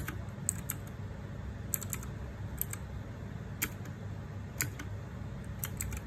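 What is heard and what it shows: Fingertips rapidly press the plastic keycaps of a small 60% RGB-backlit Ducky One 2 Mini mechanical keyboard with a metal/plastic case in continuous typing. Short, sharp, bright clicks arrive in quick irregular bursts over a steady low rumble, each one dying away almost instantly.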